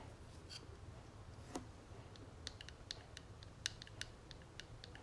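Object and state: Metal cigarette case tapped with fingernails.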